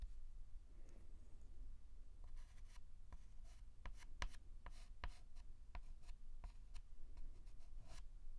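A white chalk stick is dragged in short strokes across a large flat blackboard, making quiet, brief scratching ticks with bright hiss. The strokes come in an irregular series over a steady low background rumble.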